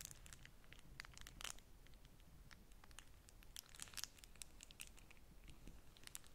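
Long manicured nails and fingertips scratch and crinkle a single folded beeswax-coated cotton food wrap with a bee print, its thin, waxy, flexible sheet held over a stack of other wraps. The result is a quiet, continuous stream of crisp, bright crackles and scratchy clicks over a faint low rumble.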